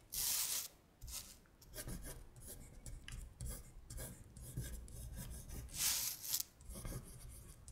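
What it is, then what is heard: Paper sheet scratched with fingernails. Long stiletto acrylic nails rub and scratch across a thin printed paper worksheet with Korean colors, lying flat on a glittery surface. Bright, rasping strokes come in bursts, the loudest near the start and again about three quarters through, with softer scratching between them.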